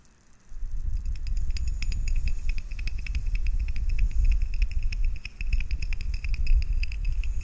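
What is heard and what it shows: Fingertips tap rapidly and irregularly on the glass top of a small glass hourglass, partly filled with fine yellow sand and held upright in one hand. Dense, light, bright clicks sit over a steady low handling rumble. The tapping continues without pause after a quiet start.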